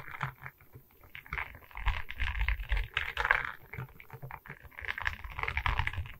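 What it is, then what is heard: Resin-bead diamond painting board tapped and scratched with nails. Long red nails tap and scratch across a diamond painting of resin beads on a wooden canvas board, held at its sides. Quick, dry clicks and rasping scratches come in clustered bursts over a low, rumbling undertone, with short-lived midrange and bright ticks.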